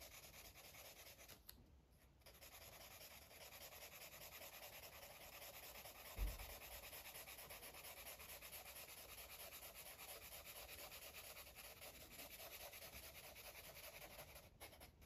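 A hand with dark nails colors a paper coloring book page with a green Sharpie felt-tip marker, the tip rubbing across the paper in coloring strokes. A steady, quiet, bright scratchy hiss runs throughout, with a brief low thump about midway through.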